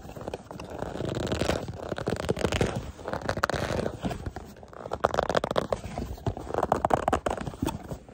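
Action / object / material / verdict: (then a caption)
scrape / small cardboard box / cardboard / none. Fingernails tap and scratch the faces of a small, hollow, printed white cardboard product box with a barcode, held in the hands. Dense, dry crackling taps and scrapes with a papery midrange tone come in several swelling waves, pausing briefly between them.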